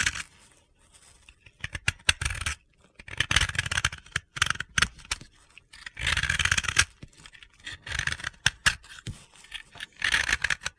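A metal utility-knife blade scrapes and shaves powdery flakes off the surface of a round, white, solid dry soap block held in the hand. Repeated dry, gritty scraping strokes come in bright, crunchy bursts separated by short quiet gaps, with little low end and almost no ring after each stroke.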